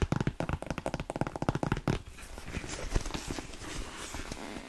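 Long nails and fingertips tap and scratch the glossy upper of an empty, hollow black smooth-leather Dr. Martens-style boot with a buckle strap and yellow stitching. A quick run of dull, low taps for about two seconds gives way to a steady, soft scratching rasp.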